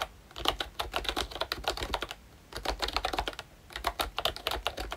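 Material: Plastic.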